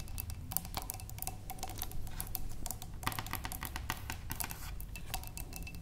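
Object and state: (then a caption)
Glass vase. Long nails and fingertips tap the sides of a large clear glass vase holding water and stems. A steady run of quick, light, clicky taps comes through with bright edges and a faint glassy ring, over a low, even rumble underneath.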